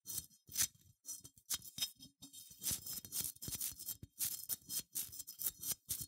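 Long nails scratch and tap along the bumpy wool-textured body and hollow legs of a small, cream, matte, unglazed ceramic sheep figurine. The result is a dense run of short, dry, bright scratches and clicks with almost no low end and no ring.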